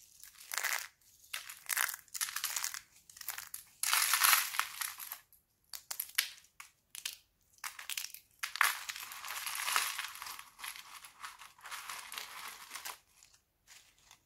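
Thin, brittle sheets of dried red laundry soap are crushed in fists, then torn and crumbled by fingers into small flakes. Dry, bright crunching and crinkling bursts come in uneven waves with short pauses between them, and there is no low rumble.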